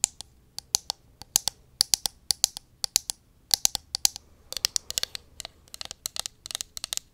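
Long acrylic nails tap and scratch the sides of a small, hollow pink plastic cosmetic bottle held in the hand close to the mic. A rapid, irregular series of sharp, dry clicks, very bright and high-pitched, each dies away almost instantly. The taps come in quick bursts that grow denser toward the end.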